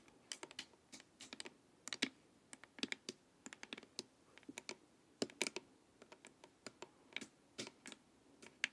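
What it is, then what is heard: Plastic LED face mask tapped with nails. Long nails tap along the sides of a hollow, glossy plastic LED face mask. About 33 quiet, sharp, bright clicks come in quick irregular clusters, each dying away almost instantly with little low end.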